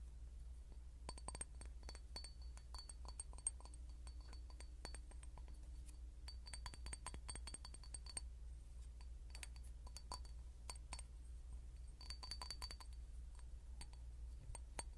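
A clear glass bottle is knocked and tapped in quick, uneven clusters, each tap a short, bright clink that dies away almost at once. A steady low hum sits underneath the whole time, with brief quieter gaps between the runs of taps.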